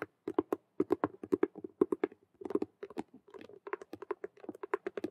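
Long nails tap fast on two sides of a hollow, glossy patent faux leather Rubik's cube handbag made of vinyl with stitched colored patches. Around thirty dry, clicky taps come in quick irregular bursts with brief pauses, each with a hollow midrange knock and a faint bright tick. The taps stop dead with no ring.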